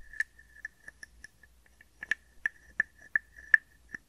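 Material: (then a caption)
Wood. A hand-sized hollow carved wooden frog guiro is scraped along its ridged back with a wooden stick, giving a series of short, dry wooden clicks. Each click has a hollow tone around 1.7 kHz and dies away almost at once, with brighter, louder strokes coming faster in the second half.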